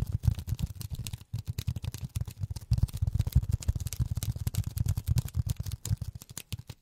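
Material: Polyethylene foam.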